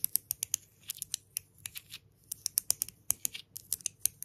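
A palm-sized solid grey stone pebble engraved "Love" is held between both hands while long nails tap and scratch all over it. The result is a quiet string of sharp, bright, dry clicks with no ring, broken by softer scratching strokes.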